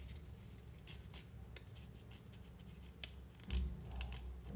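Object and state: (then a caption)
Synthetic leather belt being scratched. A medium-sized coiled white faux-leather/plastic belt, held in both hands, has its surface scratched and rubbed with fingertips and fingernails. Quiet, irregular scratching and rubbing sit over a steady low rumble, broken by brief bright scratchy ticks. The sound swells louder toward the end.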